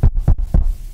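Three dull, low knocks land on a laminated wood surface, laminate over wood, knocked for luck. Each is a short, muffled thud with almost no ring and no high-frequency click, fading into a faint low hum.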